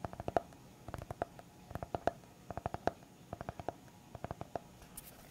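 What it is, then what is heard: Hardcover notebook tapped with fingertips. A small, solid white hardcover notepad of paper and board, held in the hand, is tapped and scratched on its cover with fingertips and nails. The result is an irregular string of quiet, dry, hollow taps with a mid-pitched tone that die away almost instantly, ending with a brief bright scratch.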